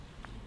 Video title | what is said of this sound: EARLY WRITING TABLET - A history of the world in hundred objects - BBC | If you tap it, you can hear that this tablet is very tough indeed.